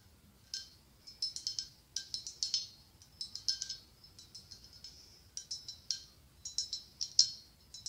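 Fingernails tap and scratch the ribbed side of a hollow white blown-glass pumpkin with a gold stem. Quick, bright clicks come in irregular bursts, each with a short, high glassy ring that fades almost at once, with soft scratching between the taps.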